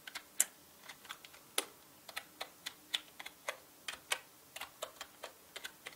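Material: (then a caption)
Plastic. Fingertips type on a full-size black mechanical keyboard with plastic keycaps, tapping out about twenty quick, irregularly spaced keystrokes. Each key press is a short, bright click that dies away almost instantly, with a few louder taps standing out over a quiet background.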